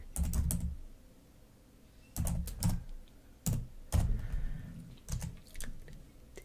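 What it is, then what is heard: Plastic laptop keyboard. Long nails type on the keys of a black plastic laptop keyboard, making irregular bursts of clicky taps with a deep thudding body. Short clusters of quick clicks are separated by quiet pauses.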